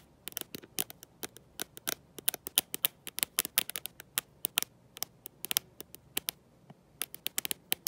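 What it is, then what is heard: Glass-backed smartphone tapped with metal clips. Long nails fitted with gold metal paper clips tap and scratch the glossy glass back of a black smartphone held in one hand, and the clips may rattle a little themselves. The result is an irregular, rapid string of crisp, bright clicks that stop almost instantly, with very little low end and near silence between taps.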